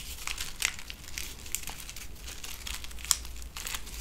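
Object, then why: Strip of paper silica gel sachets. A small strip of connected paper silica gel desiccant packets filled with beads is crinkled and rubbed between fingertips with long painted nails, possibly tearing along the perforation. The result is a steady, dry, papery crinkling with sharp, bright crackles over a faint low rumble.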